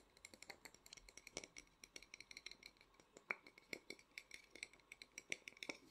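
Fast fingertip and nail tapping on the body of a small, hollow, painted and lacquered wooden matryoshka nesting doll produces a quick run of around 38 light, dry taps. Each tap is bright and clicky, with a faint hollow ring near 2.3 kHz, almost no low end, and it dies away almost instantly. The taps are quiet and uneven in strength, with a few sharper ones in the second half.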